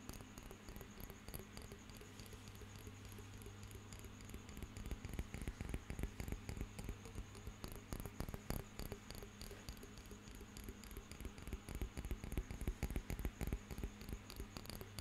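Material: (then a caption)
Glass. Fingernails tap and scratch a small glass jar of water with a gold metal lid, held upright. The quiet, rapid clicks and soft scraping come in a loose, uneven rhythm over a steady low hum, growing busier and louder around the middle and again near the end.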